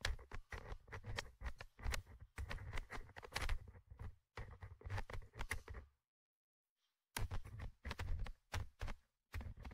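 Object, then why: Metal mesh microphone grille of a handheld recorder. A thin orange stick tip, held in the fingers, scratches and taps the small, hollow metal mesh microphone grille of a Tascam DR-100mkIII handheld recorder. Quick bursts of dry scraping and tapping come in with heavy low-end thump and a bright edge, then a silent pause of about a second. After the pause the scratching resumes.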